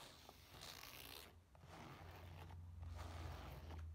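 Long nails scratch and tap across the black textured nylon of a flat rectangular case with a flap and a small metal badge, standing on a table. The result is a steady, bright, rasping fabric scratch with soft taps mixed in, all over a constant low hum.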